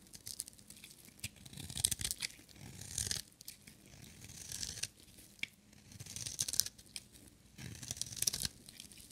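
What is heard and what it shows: A small, solid, pink-and-white striped bar of dry soap, held in one hand, is shaved with a metal utility-knife blade, producing crumbly flakes. Bursts of dry, bright scraping and crackling tear through the soap, separated by short quiet pauses.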